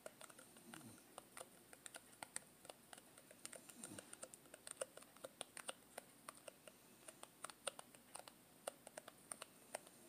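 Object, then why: Thin plastic tub lid. Long green-painted nails rapidly tap and scratch the orange plastic lid rim of a small Play-Doh tub made of thin, hollow plastic. Quiet, bright, dry clicks come in a fast, uneven stream, each dying away almost instantly. A couple of faint sliding scratches run beneath the clicks.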